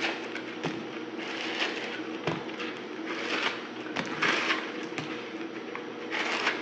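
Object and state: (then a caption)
Dried soap block, dry and crumbly. A solid dried soap block, pink glitter outside and white inside, is held in the fingers and scraped and cut with a yellow-handled utility knife. The blade makes a continuous bright, crackly rasp with six sharper cuts standing out. The soap crumbles away into flakes.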